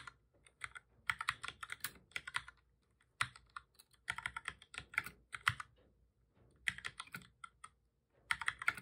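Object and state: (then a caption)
Plastic computer keyboard being typed on. Both hands type steadily with their fingertips on a full-size black plastic keyboard with a hollow body, resting on a desk. Quick, dry, bright clicking key taps come in rapid bursts separated by short pauses, and each tap dies away almost at once.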